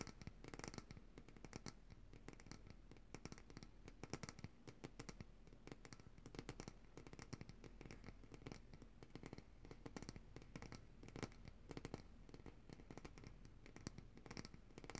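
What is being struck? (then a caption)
Glass jar of solid coconut oil. Long nails rapidly tap and scratch the sides of a large glass jar of coconut oil, full of white solid oil and held upright in both hands. The quiet, steady stream of short, dry clicks and scrapes has little ring and mostly low, dull body with occasional brighter ticks.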